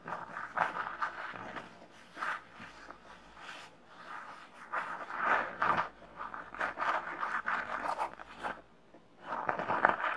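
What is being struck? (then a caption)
Small glitter-coated fabric pouch. Long nails scratch the glitter surface and the embroidered M patch of a small red glittery Minnie fabric pouch with a bow, held in both hands. Repeated bursts of dry, raspy scratching with a midrange, papery texture rise and fall. There is a brief near-silent pause before a final flurry of scratches.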